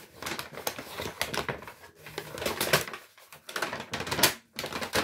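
An empty brown Lidl kraft paper shopping bag with handles is crumpled and rubbed with the fingers. It makes irregular bursts of dry, bright crackling and rustling, with short pauses between the handfuls of noise.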